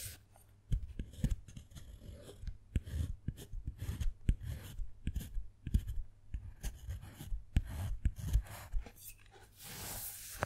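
A wooden-handled metal carving tool scratches and carves a name in letters into the surface of a flat, thick, solid dark chocolate slab, leaving shavings. The sound is a quick run of short, dry, dull scrapes and taps with heavy low thuds, followed by a steadier, brighter rasping scrape at the end.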